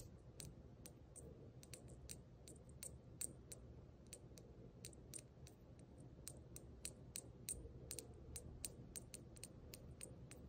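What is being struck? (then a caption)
Small brass jingle bell. A small, hollow brass jingle bell hanging from a plaid ribbon is held and shaken between fingers with long nails. It gives quick, bright, tinkly jingles with a short ring over a low, steady rumble. The jingles come in many separate bursts across the clip.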